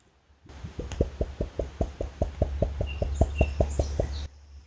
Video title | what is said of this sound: Unboxing: I've waited a literal year for this! | listen for the spring you hear that pinging sound that's the sound of a really good solid fleece